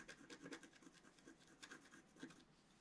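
A wooden stylus scratches a flat, black-coated scratch-art card in long strokes. The result is a quiet series of dry, papery scratching passes with a bright, hissy edge, each one fading quickly.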